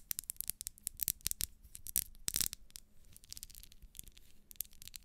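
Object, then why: Ribbed wax pillar candle. Long nails scratch and rub the ribs of a small, solid pink ribbed wax pillar candle, making quiet, rapid, bright scratchy ticks and rasps. The sound is mostly high-pitched with a faint low hum underneath, and a denser, louder burst of scraping comes about halfway through.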